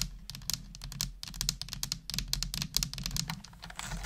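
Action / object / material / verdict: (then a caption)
tap / plastic computer keyboard / plastic / none. Long nails on one hand type continuously on a full-size black plastic computer keyboard with hollow plastic keys. The result is a rapid stream of sharp, bright, clicky taps with very short decay over a steady low hum.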